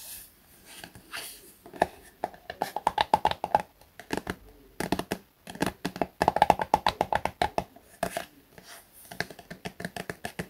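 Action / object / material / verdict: tap / soft plastic cosmetic tube / plastic / none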